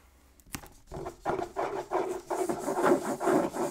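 Fingertips and nails rub and scratch the printed top of a medium, hollow, still-sealed cardboard Pokémon Fusion Strike Elite Trainer Box, gripped by its edges in both hands as it lies on a wooden table. After a faint tap, a run of dry, rasping scratch strokes follows in uneven bursts, with a mid-range papery tone and no ring.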